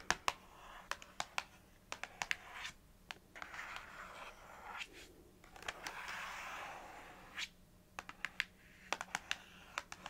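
Long fingernails tap and scratch the printed face of a small, hollow paperboard box held in one hand, tracing along the lettering on the packaging. Quick, sharp, dry clicks come in scattered clusters, alternating with softer, airy scraping passes that hiss through the mid and high range. The sound is quiet and close, with almost no low end and no ring after each tap.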